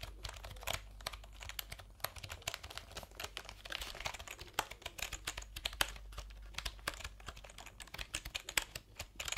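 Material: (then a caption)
Plastic. Fingertips type on the round keycaps of a colourful backlit plastic computer keyboard held diagonally. The result is a fast, steady run of short, bright clicks and taps with almost no ring, over a faint low hum.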